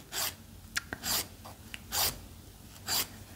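A fingernail is rubbed along the abrasive edge of a purple foam-core emery nail file held in one hand. Four separate bright, hissy rasping strokes are heard, spaced roughly a second apart, with a few faint short ticks between the first strokes.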